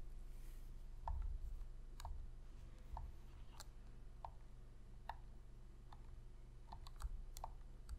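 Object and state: Plastic game controller.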